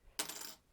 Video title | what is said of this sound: Metal Clay Demonstration | it is metal and you can hear it it sounds like metal now it won't break